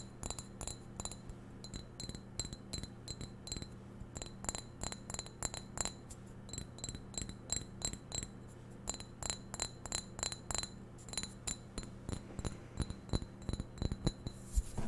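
Fingernails tap rapidly and irregularly on the body of a hollow, empty white ceramic vase with a narrow neck. Each tap is a short, bright click with very little ring, and the taps continue steadily for about fifteen seconds over a low, constant hum.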